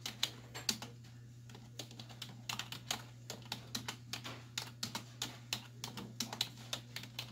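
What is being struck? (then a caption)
Plastic computer keyboard. Both hands with long white nails type on a black plastic desktop keyboard with hollow keys, striking with fingertips and nail tips. The result is an irregular stream of quick, bright, hollow clacks that stop almost instantly, some in fast bursts and some spaced apart, over a steady low hum.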